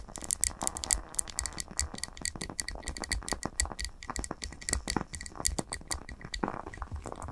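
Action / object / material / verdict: tap / wax-filled glass candle jar / glass / none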